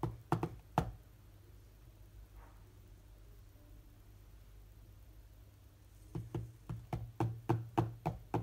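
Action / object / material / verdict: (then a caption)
tap / glass tablet touchscreen / glass / none. Fingertips of both hands tap the glass touchscreen of a large tablet lying flat, making dull, typing-like knocks with a low thud and almost no ring. Four quick taps open the clip, then about five seconds of faint low hum, then nine taps in a steady run to the end.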